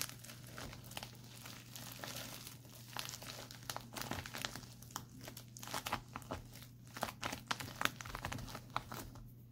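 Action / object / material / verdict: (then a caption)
scrape / plastic instant cold pack / plastic / none. Fingertips scratch, press and tap the crinkly film of a white printed plastic instant cold pack held flat. The result is a quiet, continuous crinkling with sharp, bright crackles and brief taps over a steady low hum.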